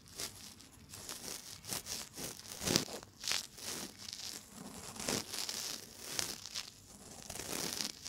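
A cotton swab, held by fingers with long nails, rubs inside the ear canal of a binaural microphone's silicone ear. It makes dense, crinkly scratching and rustling with bright, hissy strokes in quick bursts. The sound is close and dry, with little low end.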